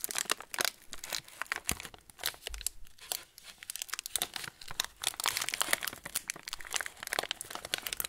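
Fingertips crumple and twist the loose yellow plastic film at the top of a TUC cracker packet standing upright on a table. The result is a steady stream of dense, bright crinkling and crackling bursts with very little low end, each snap dying away almost instantly.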